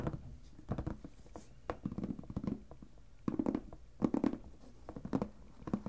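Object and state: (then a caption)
Clear plastic storage box. Fingertips and nails tap and scratch the side walls and lid edges of a clear plastic lidded storage box filled with paper ephemera. Quiet, irregular bursts of dull, hollow taps and scratchy patter with a low-mid body die away almost instantly, separated by brief near-silent pauses.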